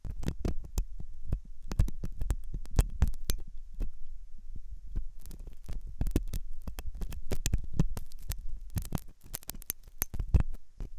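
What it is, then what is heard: Silicone ear model scraped with a metal pick. A metal dental pick scrapes inside the hollow ear canal of a white, soft silicone ear on a binaural microphone. The result is a dense run of short, dull scratches and thumps, mostly deep and low-pitched with some bright ticks. There is a brief quieter pause near the middle and another near the end.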